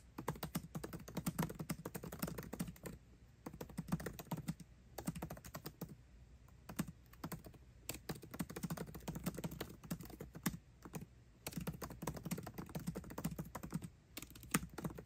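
Fast typing with both hands' fingertips on the backlit black plastic keys of a 13-inch aluminium MacBook Pro laptop keyboard. The sound is a continuous stream of soft, dull clicks with almost no ring, grouped into bursts separated by short pauses.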